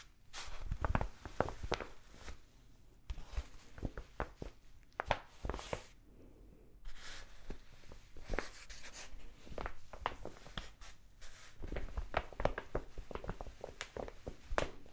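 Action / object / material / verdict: scrape / kraft paper mailer bag / kraft paper / none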